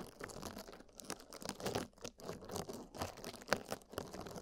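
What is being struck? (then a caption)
Porous foam sponge. Two small, soft, dry yellow porous sponges, one in each hand, are rubbed and squeezed by fingertips against silicone microphone ears. The result is a close, continuous crinkly rubbing with short crunchy bursts that sit mostly in the mids and spread up bright. The sound is quiet with little low end.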